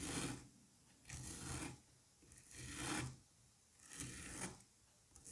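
A curette scrapes and rasps across the surface of a solid dome of green kinetic sand held in a gloved hand. Four drawn-out, gritty strokes come about once every second and a half, each a broadband rasp with a bright hiss up top and a low grainy rumble beneath. Quiet pauses fall between the strokes, and a faint fifth scrape begins at the end.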